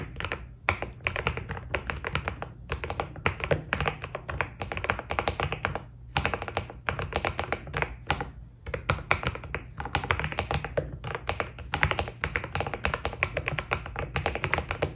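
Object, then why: Mechanical keyboard with PBT keycaps. A white Keydous NJ80 mechanical keyboard with PBT keycaps is typed on continuously with the fingertips. Rapid, short, dry clacks run in dense bursts with brief pauses, over a steady low hum.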